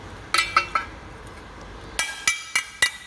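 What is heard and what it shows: A stainless steel joint, MIG welded with a Golden MIG/MIG-500 welder, is knocked seven times to show the weld holds. Each knock gives a short, bright metallic clink that dies away quickly. The weld stays attached and does not come loose.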